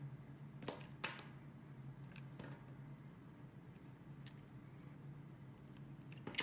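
A metal box-cutter blade slices thin sheets from a translucent yellow solid glycerin soap bar held in one hand. Sharp, bright crisp scrapes and cuts stand out over a quiet, steady low hum.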